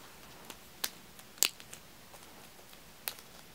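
Fingertips and nails tap the thin metal rims and tops of stacked, unwrapped small aluminium-cup tealights, solid and wax-filled. Sharp, bright, dry ticks stand out in a light patter over a quiet hiss, with almost no low end and no ring after each tap. The three strongest taps are spread across the clip, with softer clicks between them.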